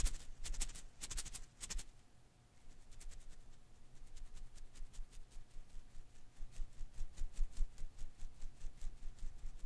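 Fingers rub and ruffle the strands of a hand-sized blue and green rubber-filament Koosh ball held in one hand. A few bright, crisp rustling bursts open the clip, followed by a brief near-silent pause. Then a steady, rhythmic run of soft swishing ruffles plays over a faint constant tone.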